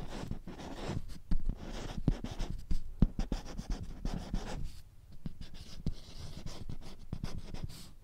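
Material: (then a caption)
Plastic. A marker scratches and writes across the laminated surface of a small handheld whiteboard with a green plastic frame while the board is held in the hand. The scratchy rubbing is steady and low-heavy, broken by sharp little ticks as the marker tip strikes and lifts, with a brief quieter lull around the middle before the writing resumes.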